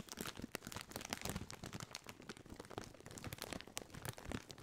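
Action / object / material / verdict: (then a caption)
scrape / foil-lined plastic chip bag / metallized plastic / none. A partly filled Doritos chip bag, made of foil-lined metallized plastic, is scratched and crinkled with the fingertips. It gives a dense, continuous run of bright, crackling crinkles and sharp ticks. Each snap dies away at once with no ring.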